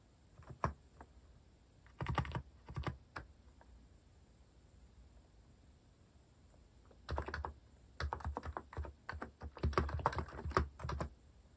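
Fingertips type on a compact white-cased mechanical keyboard with cat-themed plastic keycaps, producing short, dull clacks with a deep thocky body and very quick decay. A few scattered bursts of keystrokes come early on, then a longer, denser stretch of steady typing runs through the second half.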